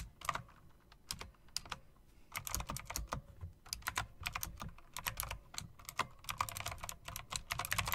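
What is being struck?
Typewriter-style mechanical keyboard with plastic keycaps and metal rims.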